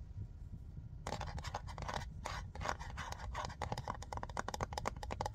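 Fingernails tap and scratch a large white plastic Soak Off nail polish remover bottle, full of liquid, with a black cap. After about a second of low rumbling noise, a rapid series of dry, bright scratching strokes begins and continues to the end over a steady low hiss.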